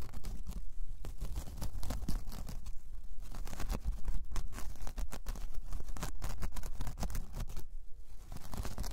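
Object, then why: Braided jute coaster. Long painted nails scratch across a large, flat, solid round braided jute/straw coaster resting on fur. The result is a continuous run of rough, dry rasping strokes with a bright, papery edge over a steady low rumble, with a few brief pauses between bursts.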